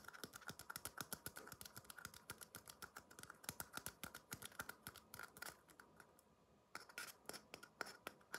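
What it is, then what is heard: Empty paper cup. Fingertips tap the sides and base of a small, empty red paper cup held upside down. They make a quick, uneven run of light, dry taps with a hollow papery tone and bright clicky edges, each dying away almost at once. The tapping pauses briefly near the end, then picks up again.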